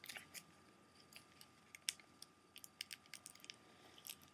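Fingertips and short nails of both hands tap the front cover of a closed, hollow, clear plastic CD jewel case for a Blondie album, held upright. About 17 quiet, sharp, bright clicks come at an irregular pace, each dying away almost instantly. A faint steady high tone runs underneath.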